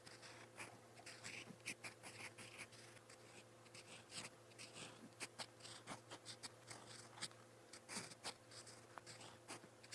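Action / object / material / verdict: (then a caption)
scrape / metal pen nib on a paper notebook page / paper / none. A gold-toned metal fountain pen nib scratches across a lined white page of a spiral notebook while writing purple Korean letters. The sound is a series of quiet, bright, short scratching strokes with quick pauses between them, heard over a faint steady low hum.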